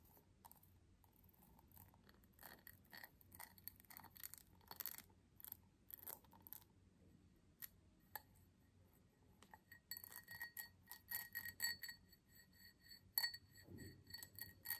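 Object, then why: Small cut-glass tumbler. Long fingernails tap and scratch the faceted sides of a small, empty cut-crystal tumbler held in the hands, with a vase standing idle nearby. Quiet, irregular clicks and scrapes give way to denser tapping in the second half, with brief, bright, high glassy pings that die away almost at once.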